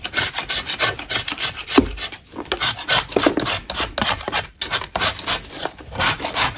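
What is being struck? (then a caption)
Natural chalk block scraped with a metal blade. A metal putty knife scrapes a solid lump of natural chalk, with the powder falling into a bin. Quick, uneven strokes of about three per second make a bright, dry, gritty rasp with almost no low end. Each stroke stops sharply with no ring, and there are brief pauses between runs.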